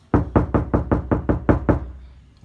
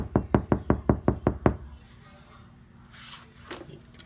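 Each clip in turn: First: Nine quick, loud knocks, each a low booming thud with a brief resonant tail: a hollow, undamped door. Second: Eight quick knuckle knocks on a car door give short, low, dull thuds that die at once: a damped, solid-sounding panel.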